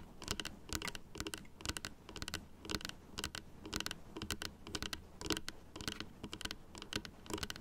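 Long blue acrylic nails tap and scratch across the white teeth of a small hollow plastic dental model, a denture jaw with pink gums and a blue base resting on a stand. Rapid, irregular bursts of crisp, bright clicks and short scratches follow one another with very quick decay, over a faint low hum.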